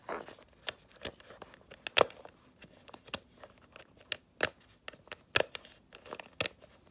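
Long acrylic nails scratch and tap the front of a small, hollow snakeskin-print faux leather mini handbag near the clasp. The result is an irregular series of sharp, dry clicks and crinkly scratches with bright high end and a midrange knock around 500 Hz. Each sound dies away almost instantly, with quiet gaps between them.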